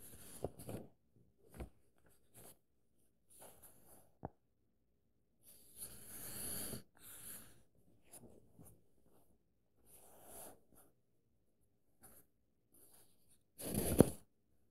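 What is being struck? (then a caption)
Paper pages of a paperback book. A fingertip and nail trace and scratch across the printed paper page of an open paperback book. Quiet, intermittent bursts of soft, papery scratching and rustling are heard, broken by a few sharp little clicks. The clip ends with a louder, brighter swipe across the page.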